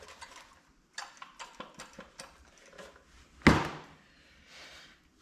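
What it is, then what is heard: Small engine with no loose clip inside. A metal Predator 224 stroker small gasoline engine, being reassembled for a Coleman BT200X mini bike, is shaken by hand to listen for a small clip lost during reassembly. A series of light knocks and shuffling thumps builds to one louder, duller clunk, then fades to quiet. No loose rattle is heard, so the clip is not inside the engine.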